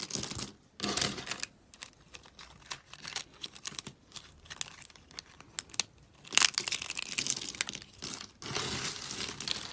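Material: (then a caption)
Soap. A hand with long pink nails digs into a pile of pastel dry soap shards, breaking and crunching the pieces. Bright, crisp crackling comes in short bursts and scattered snaps, with louder, denser crunching near the start, around six seconds and again toward the end.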